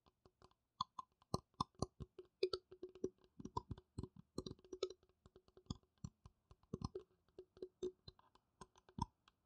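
Fingertips and nails tap on the top and sides of a small, hollow, empty transparent blue plastic piggy bank resting on a mat. About 27 quiet, irregular taps land as short, dry clicks with a faint hollow body, each dying away almost at once.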